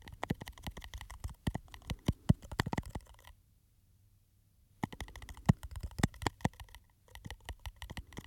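Fingernails tap and scratch a small glass perfume bottle with a textured, studded surface and a silver cap, held close to the microphone. Quick, dull clicking taps and soft scratches come in dense bursts, broken by a long silent pause midway and a brief one near the end.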